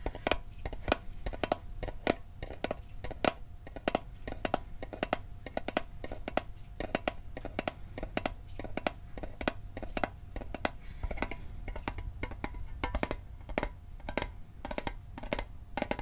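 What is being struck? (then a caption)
Small metal mint tin. A metal Altoids mint tin is tapped in a steady run of quick, sharp clicks, with some taps faster and some slower. Each tap is short with a faint metallic ring around 700 Hz and barely any decay, over a low background rumble.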